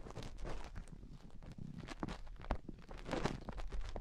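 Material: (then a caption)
Silicone rubber. Long painted nails dig into the canals of both white silicone microphone ears with a scratching motion. The result is a steady stream of close, muffled scratching and rubbing, heavy in the low end, with short crackly bursts and no ring after each stroke.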